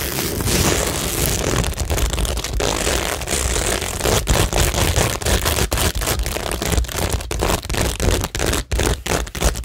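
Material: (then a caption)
Cork, plastic. Long nails scratch and tap across a cork tingle board covered with plastic rhinestones, making a steady, dense scratching rasp. It is broken by many brief dropouts and clicky taps, with bright hiss over a low rumble.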